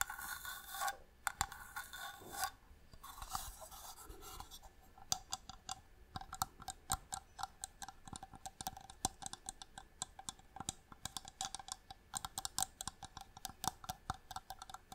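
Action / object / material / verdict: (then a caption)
tap / small inlaid wooden box / wood / none. Fingernails scratch and then tap rapidly on the lid of a small, hollow wooden box with striped marquetry inlay, held in the hand. A few seconds of rough, bright scratching give way to a quick run of dozens of short, dry, clicky taps with a woody tone around 800 Hz and almost no ring.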